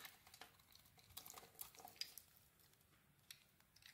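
A rectangular, solid bar of soap with a dark brown coating and a cream core is held in the hand while a small metal blade scrapes the coating off. The result is a run of quiet, bright, crisp scraping and crumbling ticks that stop short with almost no ring and very little low end.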